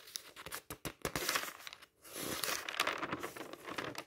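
Fingertips quickly turn the thin pages of an open paper magazine lying on a table. The pages make bright, crisp flaps and crinkles in a quick run, pause briefly near the two-second mark, then give a denser, continuous papery rustle. There is almost no low end.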